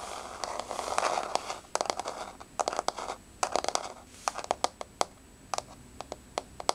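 Long nails scratch and tap on a solid, flat wood-grain laminate floor with fingers spread. For about the first 1.7 seconds a dense, papery scratching rises and falls. It then gives way to many sharp, dry clicks with almost no ring, some in quick clusters and others spaced apart over faint scraping.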